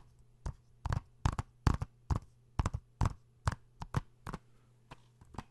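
Fingertips and nails tap a hollow plastic PS4 game case (Uncharted) held in the hands close to the microphone. About fifteen short, dry, irregular taps and small tap clusters sound with a low, hollow body and quick decay over a faint steady hum.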